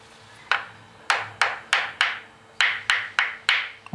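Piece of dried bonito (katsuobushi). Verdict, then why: Unready. A piece of dried bonito is knocked in a quick, uneven series of nine sharp, woody clacks, each with a short, bright ring centered in the upper midrange that fades within a fraction of a second. Judging by this sound, the piece is not yet ready.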